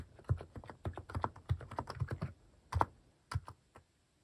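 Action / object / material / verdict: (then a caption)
tap / plastic mechanical keyboard keys / plastic / none. Fingertips type on a white-case plastic mechanical keyboard fitted with pastel plastic cat-shaped keycaps. Quick, short clacks with a deep low thud land in an uneven burst for about two and a half seconds. After a brief pause, a few scattered final keystrokes follow.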